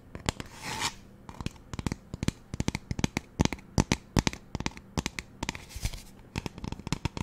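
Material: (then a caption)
Plastic. Fingernails tap and scratch on the plastic body of a magenta spray bottle with a white trigger. A rapid run of short, dry clicks with almost no ring is broken by two brief, brighter scratching rasps, one near the start and one toward the end.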